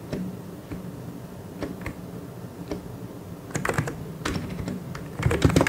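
Both hands type fast with their fingertips on a full-size white and grey mechanical keyboard with plastic keycaps. The result is a stream of short, dull clacks with a heavy low thump under each keystroke. The typing grows denser and louder in bursts toward the end.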